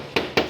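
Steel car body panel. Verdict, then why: Unrepaired. Two knuckle knocks on an unrepaired area of an original sheet-steel car body panel give short, tinny, tin-like metallic taps. Each tap has a bright ring around 460 Hz that fades quickly, which is the normal sound of bare metal compared with a filled area.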